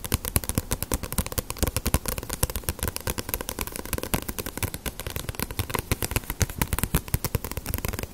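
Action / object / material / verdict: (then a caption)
tap / paperback book with glossy paper cover / paper / none. A small, solid paperback One Piece manga with a glossy paper cover is held in the hands and tapped with fingertips and long nails on its front cover and edges. The result is a fast, continuous stream of short, dry taps and clicks with soft low thumps, each dying away almost instantly.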